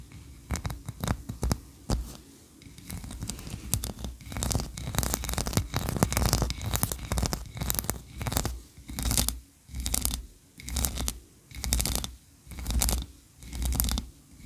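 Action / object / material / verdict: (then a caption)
scrape / ribbed wax tree-shaped candle / wax / none. Long nails scratch the ridged sides of a solid white, ribbed wax tree-shaped candle, making dry, rasping strokes with bright crackly edges over a heavy low rumble. The scratching starts out dense and uneven, then settles into rhythmic bursts about once a second with short quiet gaps between them.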